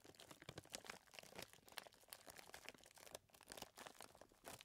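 A hand presses and squeezes a clear plastic zip bag full of small chocolate chips, then holds it up. Bright, dense crinkling and crunching rustles come in quick bursts with no ringing tail.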